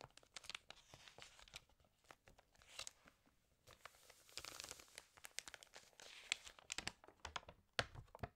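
An open, water-damaged glossy paper fashion magazine has its pages turned and rubbed with fingertips and long nails. The result is a steady run of dry, bright crinkling and crackling with sharp tearing-like scrapes and quick clicks, quiet gaps between bursts, and little low end.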